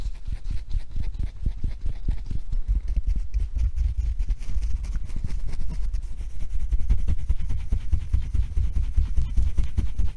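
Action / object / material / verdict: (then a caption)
tap / felt-covered rubber tennis ball / felt, rubber / none. A blue and yellow hollow felt-covered rubber tennis ball, held in the hands, is tapped and scratched with long nails. The result is a steady run of soft, dull, low thuds and scratches with almost no ring and little brightness.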